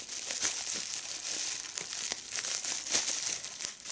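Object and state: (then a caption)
Plastic bubble wrap. A small hollow piece of clear, air-filled plastic bubble wrap is held in both hands while its bubbles are squeezed and popped with fingertips and long red nails. The sound is a steady, quiet, bright crinkling with almost no low end, broken by sharper crackling pops that fade quickly.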